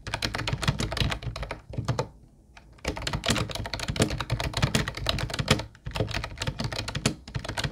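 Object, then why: Plastic keyboard with round keycaps. Both hands tap with fingertips on an Ubotie mint-blue plastic retro keyboard with round white keycaps, making rapid, clacky typing with a low, thunky body and bright click tops. The taps run in a dense stream, stop for a short pause near the two-second mark, and then continue steadily to the end.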